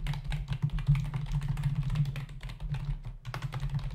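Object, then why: Plastic membrane computer keyboard. Both hands type with their fingertips on a black plastic membrane computer keyboard, with plastic keys and a hollow body, resting on a desk. A rapid, uneven run of short, clicky taps with bright edges sits over a steady low hum that carries most of the energy.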